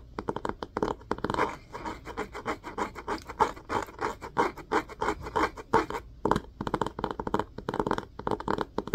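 Fingernails of both hands repeatedly scratch the orange cloth-covered spine of a solid hardcover book with board covers, held spine up. The result is a dry, rapid, rasping scratch centered in the mids, coming in quick bursts with brief pauses, including a short gap around six seconds.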